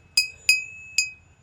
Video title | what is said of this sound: ফাঁকা মাঠে টুং টাং শব্দ কেন? # vlog # nature # village blog # natural view | দুটো কাচের বোতল